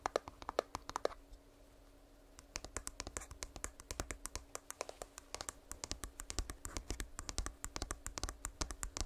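Fingertips tap rapidly on an earbud charging case, making short, dry clicks with a bright edge. A brief flurry of taps is followed by a pause of about a second and a half, then the tapping resumes in a steady, quick rhythm. A faint constant hum sits underneath, and no voice is heard.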